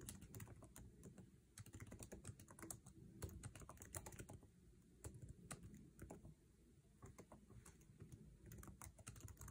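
Fingertips type fast on a MacBook Air laptop keyboard with plastic keycaps set in an aluminum chassis. Rapid, dense clicks come in quick bursts, each short and sharp with a low thud under a bright tick. The taps run steadily through the clip, with only brief lulls.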